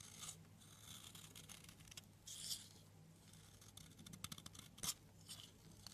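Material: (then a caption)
Soap. A metal blade scrapes and cuts thin slices along the edge of a long, solid blue soap bar held in the hand. The sound is quiet, bright scraping and shaving, broken by irregular sharp, crisp cuts over a low steady hum.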